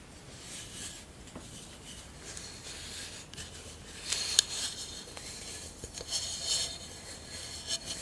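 Long acrylic nails tap and rub on a short, hollow, empty glass jar covered in glass mosaic tiles, held in the hand. Quiet, bright clicks and scratchy brushing sounds come at an uneven pace. Each tap stops dead with almost no ring.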